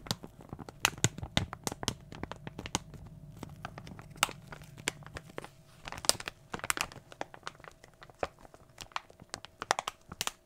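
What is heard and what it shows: A small, glossy plastic foil toy blind bag, hollow with contents inside, is held up in both hands and crinkled with the fingertips. The result is a dense run of sharp, bright crinkles and crackles, with a faint low hum underneath.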